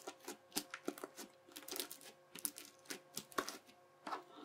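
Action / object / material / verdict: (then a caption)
scrape / bead-filled slime pressed with a plastic knife / slime, beads / none. The edge of a yellow plastic knife, guided by a fingertip, is pressed repeatedly into a flattened teal crunchy bead-filled slime. About eighteen short, crisp crunches and bright crackling pops follow one another at an uneven pace, each dying away almost at once over a faint steady tonal hum.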